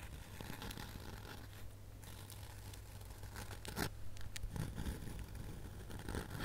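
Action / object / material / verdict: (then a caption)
scrape / flat glitter-coated foam snowman ornament / foam, glitter / none. Long nails scratch across the glittery surface of a flat, solid, glitter-coated foam snowman ornament held close to the camera. Quiet, irregular scratchy rasps like a zipper or tearing sound repeat quickly throughout, growing a little louder after the midpoint. A steady low hum runs underneath.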